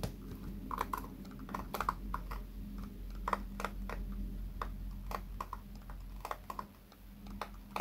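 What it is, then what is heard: Plastic hairbrush bristles. Fingertips flick and scratch the white pin bristles of a small pink plastic hairbrush held in one hand. Quick, dry clicks and ticks with a bright edge repeat irregularly over a steady low hum, each snapping off almost instantly.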